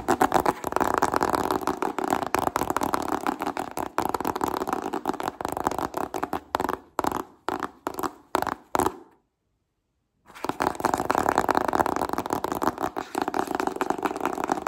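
Fingertips and nails rapidly tap and scratch on a small, hollow white cardboard smartphone retail box printed with a phone image, making a dense, papery midrange clatter. Around the middle the rhythm breaks into short separate bursts, then stops for about a second of silence before the fast tapping and scratching resumes.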